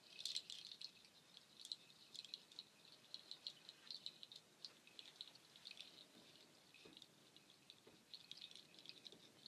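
Strands of a nut shell waterfall shaker are held up, swung and shaken close by, the shells clattering together in quick, dry clicks. The sound is bright and thin with almost no low end, coming in dense flurries with brief lulls, and stays fairly quiet throughout.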